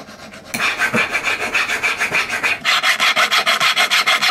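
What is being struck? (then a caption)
Silver ring band filed with a steel needle file. A solid silver ring band, held against a wooden bench pin, has its edges and inside scraped with a steel needle file. After a few faint strokes, the sound becomes a loud, steady back-and-forth rasping of about fifteen bright, scratchy strokes. There is a brief dip partway through before the filing continues at the same quick pace.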